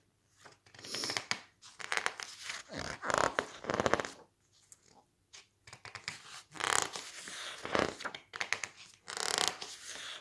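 Fingertips rub, squeeze and flip the thick glossy pages of an open softcover magazine-style book. Irregular bursts of crisp, bright paper rustling and crinkling come and go with short quiet gaps, with almost no low end.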